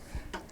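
A tempered glass side panel on a PC case is tapped twice to show by sound that it is glass rather than acrylic, which is preferred because acrylic scratches and glass is easier to clean. A dull low knock is followed by a brighter, short clicking tap that dies away quickly, confirming the panel is glass.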